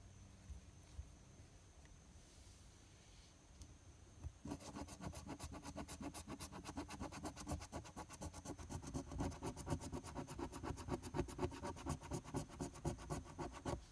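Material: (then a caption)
Paper. A coin held in the fingers scratches the latex coating off a flat paper lottery scratch-off ticket (#024). After about four seconds of quiet, a rapid, fairly steady run of dry, rasping strokes begins, about four per second, and grows slightly louder toward the end.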